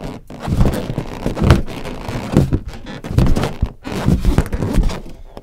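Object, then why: Inflated latex balloon. Long acrylic nails and fingertips tap and scratch the surface of a large, hollow, air-filled green latex balloon, with a red balloon sitting nearby untouched. The result is a steady run of soft, low, dull thumps blended with light scratchy rustling, each tap dying away almost at once.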